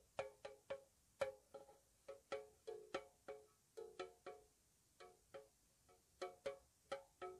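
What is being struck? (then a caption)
Small metal tea tin. A small, hollow, white-painted square metal tea tin is tapped with long nails on its lid edge and sides, giving about twenty soft, slow, irregularly spaced taps. Each tap makes a short pitched ping centered near 540 Hz with a faint bright click and little low end, fading quickly.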